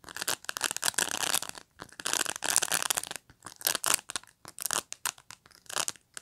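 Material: Plastic.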